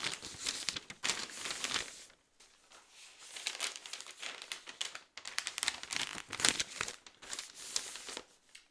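A large open newsprint newspaper is held at its lower edge with both hands while its pages are handled and turned. Soft, bright crinkling and rustling comes in bursts with brief pauses between them, with almost nothing in the low end.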